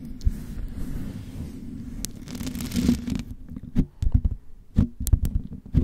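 Long white acrylic nails on both hands quickly scratch and tap the white metal mesh grille of a hollow USB studio microphone. The first three seconds are a continuous boomy scratching rumble, followed by a series of sharp, thumping taps. The sound stays deep and bassy, with only faint bright edges on the strikes.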